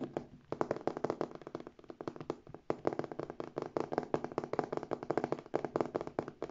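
Long painted nails rapidly tap and scratch the front of a medium, structured, hollow beige faux leather handbag and its gold metal hardware plates. The result is a dense stream of crisp, dry clicks and scrapes with a mid-range hollow tone. Each stroke is short and snappy, with the pace briefly thinning before picking back up.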